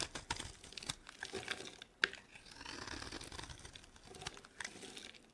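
A metal box-cutter blade scrapes and carves a solid, dry, rectangular, palm-sized bar of blue soap held in one hand, shaving off thin flakes. Quiet, bright, crinkly scraping strokes run throughout, with one sharp crisp snap near the two-second mark. Each stroke is dry and stops dead with no ring.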